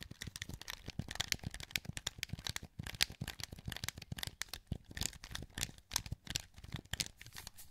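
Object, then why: Plastic game controller. A wired black plastic PS2 controller with a hollow handheld shell is held in both hands while the thumbs click its face buttons and d-pad. It makes a rapid, continuous stream of short, dry plastic clicks with bright, crisp tops and a soft low thump beneath. There is almost no ring after each click.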